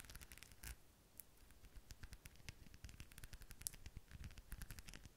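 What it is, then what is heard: Rhinestone-covered decorative ball. Long pink fingernails tap and scratch a palm-sized, seemingly hollow decorative ball covered in blue and silver rhinestones, held in one hand close to the microphone. The result is a quiet stream of rapid, dry, bright clicks and scratchy rasps, with soft low thumps beneath and no ringing after each tap.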